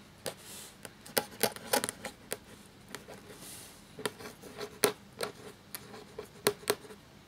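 A black feather quill nib scratches across a thin, cream parchment-style paper sheet lying flat while writing. Sharp, dry scratchy strokes with bright, high edges alternate with softer brushing swishes. A faint low-mid tone sits beneath the quiet, uneven rhythm of the pen.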